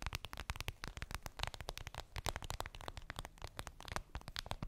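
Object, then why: Clear vinyl pouch. Long pink nails tap and scratch a clear vinyl makeup bag, a flat transparent PVC pouch with a daisy print and a zipper, lying on fluffy fabric. A rapid, steady run of short, dry taps with crinkly, crackling scratches between them, each hit a soft low thump with a bright plastic edge and no ringing.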